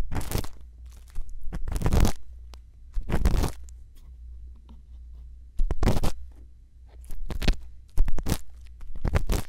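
A thin bamboo earpick scratches the rim and the inside of the canal of a silicone ear on a binaural microphone. Close, bright rustling scratch bursts come in uneven strokes over a steady low rumble, with quieter soft scraping between them.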